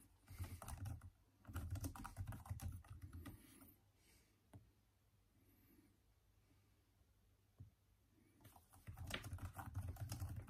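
Both hands type with their fingertips on the hollow plastic keys of a backlit Microsoft Surface laptop keyboard, producing quick, soft, dull tapping with short dry clicks. The tapping comes in bursts early on, pauses for several seconds with only a couple of isolated key taps, then resumes in a steady rush at the end.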